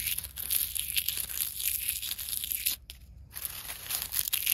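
Dry brown leaf fragments are crushed and crumpled between the fingers of one long-nailed hand, held over leaf litter. A dense, bright crackling and crunching runs almost continuously, dropping briefly to near silence before resuming.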